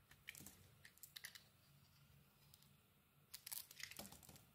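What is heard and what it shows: A utility knife blade shaves a solid red and cream bar of soap, breaking off chunks with crisp, bright scraping and crunchy crackles. A cluster of sharp cuts comes early, then a quieter stretch with a faint low hum, then a louder burst of crunchy shaving near the end.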